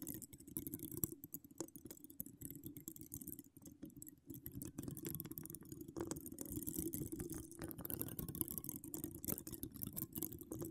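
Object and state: Metal mesh microphone grille scratched.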